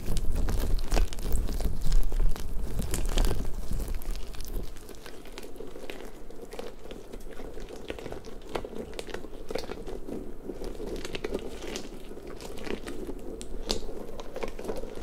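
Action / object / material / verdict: scrape / soft rubber puffer ball / rubber / none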